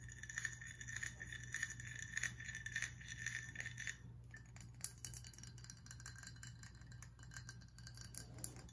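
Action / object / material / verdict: tap / glass whiskey bottle / glass / none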